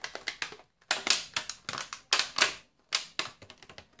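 A small, clear, thin plastic clamshell tray full of sliced cold cuts is held in both hands and squeezed, crinkled and tapped with the fingertips while being opened. Bright, crisp plastic crackles and sharp clicks come in a quick series of short bursts with brief silent gaps. Each burst dies away almost at once, with almost no low end.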